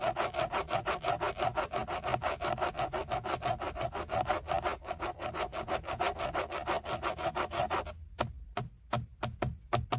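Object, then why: Hard textured plastic airbag cover. Fingertips and short nails scratch the hard, textured, hollow plastic airbag cover at the center of a BMW steering wheel. Quick, dry rasping strokes with a hollow mid-range tone repeat rapidly for about eight seconds, then thin out into a few separate, slower scrapes.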